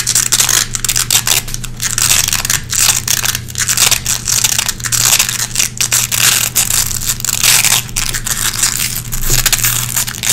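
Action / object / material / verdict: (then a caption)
scrape / nylon velcro hook strip / nylon / none. Long red-painted fingernails scratch and pick lint out of the hooks of a small gray nylon velcro hook patch. Dense, bright, crackling rasps come in quick, repeated bursts over a steady low hum, as the lint is worked loose from the hooks.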